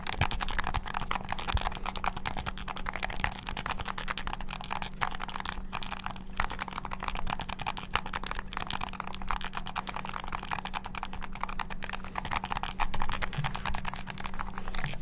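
Fingertips rapidly press the buttons of a hollow black plastic game controller with a string tied around it. The result is a dense, continuous stream of sharp, bright plastic clicks with no pauses, over a steady low hum.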